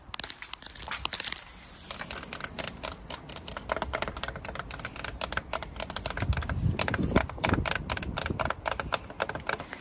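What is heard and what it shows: Long nails tap and scratch along the ridges of a thin, clear, hollow-fluted corrugated polycarbonate roofing sheet with water droplets on it, outdoors. Rapid, sharp plastic clicks run throughout with dry scraping between them, pausing briefly just before the two-second mark. A low rumble swells under the tapping in the later half.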